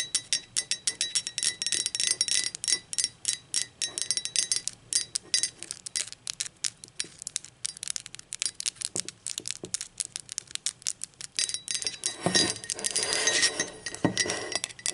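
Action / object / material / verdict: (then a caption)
tap / glazed ceramic mug / ceramic / none. Long pointed acrylic nails rapidly tap the sides and rim of a hollow, empty, blue speckled glazed ceramic mug. The result is a dense stream of bright, clicky taps with short, glassy, chime-like rings. Near the end, a broader, rougher scraping-like burst joins the tapping.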